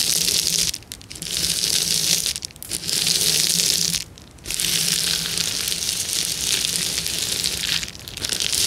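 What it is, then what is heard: Plastic bubble wrap being scratched. Long nails of both hands scratch and rub a clear plastic bubble wrap sheet with hollow air bubbles. The result is a dense, bright, crackly scratching texture that runs almost continuously. It briefly softens at a few moments, most noticeably a short quiet gap just after the four-second mark.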